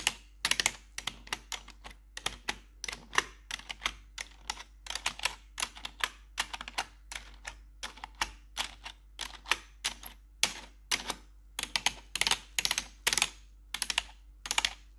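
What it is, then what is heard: Plastic computer keyboard tapped with metal nails. Metal claw nails on blue gloves tap the keycaps of a black plastic RGB computer keyboard, making rapid, irregular bursts of sharp, bright clicks with almost no ring. A faint steady low hum runs underneath the taps.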